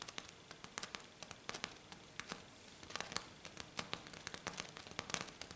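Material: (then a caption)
Glitter. Both hands scratch hard and fast with long black nails across a flat silver glitter-coated sheet. A rapid, irregular string of dry, bright, crackling scrapes and sharp clicks rises over a faint hiss. Each stroke is brief and dies away almost instantly.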